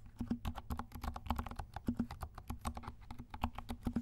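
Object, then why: Plastic mechanical keyboard. A compact 68-key plastic mechanical keyboard with dark plastic keycaps and silent switches is typed on with the fingertips of both hands. The result is a quick, steady run of soft, muted, low thuds with very short decay and only a faint bright click on top.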